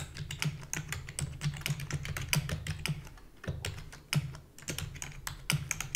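Rapid typing with long fingernails and fingertips on a full-size black plastic keyboard with a hollow body gives a fast, uneven stream of short, bright clicks and taps. A steady low hum sits underneath throughout, and the clicks die away almost instantly.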